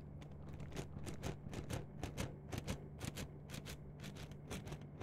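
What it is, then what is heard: Plastic mesh net sleeve. A yellow-green plastic mesh net sleeve is bunched and stretched in both hands while long nails scratch and crinkle the mesh close to the mics. Quick, bright crackling scratches come in a fairly steady rhythm over a constant low hum.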